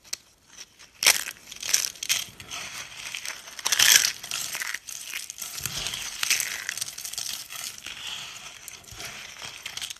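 Both hands squeeze and crush pale yellow dry soap shavings and brittle sheets into small flakes on a countertop. The result is dry, bright crunching and crinkling with sharp crackly bursts, the loudest coming near the start and middle, over a steady brittle rustle with almost no low end.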